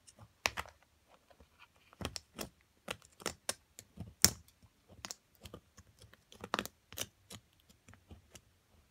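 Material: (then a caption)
Plaster. A small metal carving pick chips and scrapes a solid white plaster block from a crystal excavation kit, which rests on a pile of plaster chips while long-nailed fingers hold it steady. A quiet, irregular series of short, dry, bright clicks and ticks sounds with very little low end, each dying away almost instantly.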